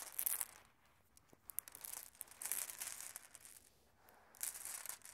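Bare hands sweep and push a loose group of small solid glass marbles together on red carpet. The marbles click against each other in quiet, bright, rattling bursts, with soft rustling between them.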